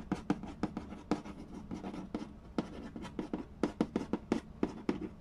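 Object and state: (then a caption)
Cardboard board game box. Fingertips and nails scratch and trace across the printed cardboard lid of a large, flat, hollow Mastermind board game box. Quick, dry scratching strokes and light taps repeat in an irregular rhythm, each with a hollow, papery thump around 220 Hz. Every stroke dies away almost at once.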